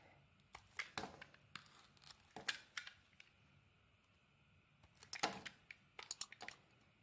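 A utility knife blade shaves the edges off a solid cream bar of soap held in the hand. Short, bright scraping and crisp shaving sounds come in irregular bursts, with a quiet stretch in the middle before a denser run of cuts. Each cut dies away almost at once.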